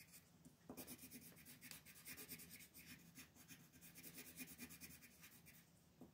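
A teal colored pencil rubs and scratches across a thin mandala coloring sheet resting on a wooden table while filling in leaves. Quiet, rapid back-and-forth strokes make a steady, bright, papery scratching with a faint low undertone. The strokes swell and fade without pause.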